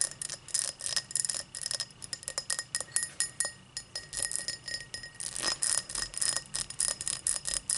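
Long matte black nails tap and scratch the faceted surface of an empty, hollow, tall cut crystal tumbler lying on its side on a towel. Rapid, bright, glassy clicks and short scrapes come in quick clusters. Each has a high, thin ring that dies away almost at once.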